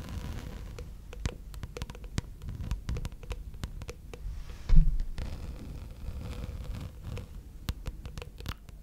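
A thin gold glitter plastic placemat, curled into a hollow tube, is scratched with long red nails. The result is a steady run of quick, dry scratching clicks over a low rumble, with one louder thump near the middle.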